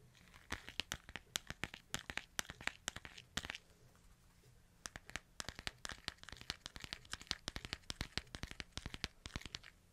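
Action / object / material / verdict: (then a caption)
tap / smartphone with glass screen / glass / none. Fingertips tap and scratch the white and silver back and edges of a smartphone with a glass screen, making rapid, sharp, bright clicks. A brief pause falls around the four-second mark before the tapping resumes just as busily, over a faint steady low hum.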